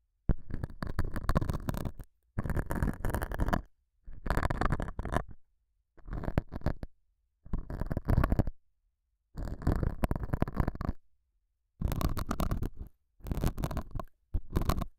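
A metal dental scaler hook scratches the surface of a small, solid, square beige felt pad mounted over a small lavalier mic. It makes dense, rough scraping in about nine separate bursts with short silent gaps between them. Because the mic sits right under the felt, the sound is dull, close and bass-heavy, like a muffled rumble with almost no bright edge.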